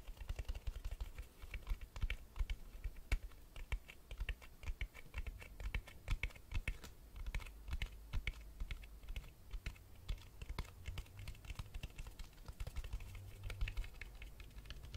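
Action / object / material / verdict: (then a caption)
tap / hardcover book spine, board and cloth / book board / none. Fingertips tap quickly on the spine of a black hardcover Berserk volume 2 held upright. The taps are rapid, short and dry, with a clicky quality like keyboard typing, running continuously for the whole clip over a steady low hum.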